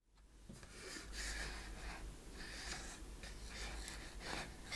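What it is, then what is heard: Wooden treasure chest. A small wooden treasure chest with metal studs, a latch and corner fittings sits with its lid closed while long painted fingernails tap and scratch along its front and sides. Soft, breathy scratching swells in bursts of bright hiss over a steady low hum, with no clearly separate hits.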